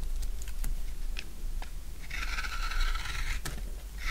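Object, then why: Bar of soap shaved with a blade. A utility knife shaves curls off a solid rectangular bar of dry blue soap. A few short, crisp ticks and crunches come first, then a long, bright, steady scrape, and a second scrape starts at the end. A low, steady hum sits under it all.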